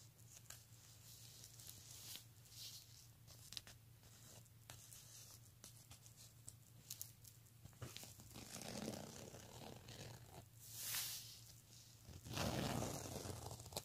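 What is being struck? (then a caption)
Soft fabric handbag with metal zipper. Fingertips with short nails scratch and rub the fabric beside the metal zipper of a small, soft black nylon- or satin-like handbag lying flat. The result is a run of dry, crinkly scratching and brushing sounds over a steady low hum, with louder, fuller rubbing passages toward the end.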